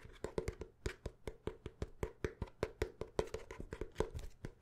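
Fingertips tap quickly and steadily on the cover and pages of a paper notebook, about 26 short, dry, wood-block-like taps in under five seconds. Each tap is a brief knock with a dull low thump and a hollow tone around 440 Hz, dying away almost instantly.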